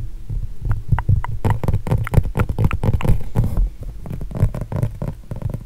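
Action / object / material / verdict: scrape / acrylic-painted canvas / canvas / none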